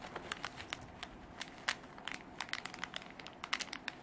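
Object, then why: Canvas fabric zip pencil case. Long black artificial nails scratch and rub a soft, hollow beige canvas zip pencil case. They make a series of sharp, bright crinkling scratches in irregular bursts over a quiet background.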